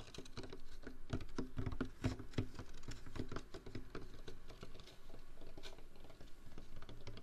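A large, hollow, empty-looking white foam fast-food cup is held close to the microphone and scratched and tapped with fingernails and fingertips. The result is a steady, dense patter of quick, dry taps and scratchy rustles, with hollow low thumps that die away almost at once.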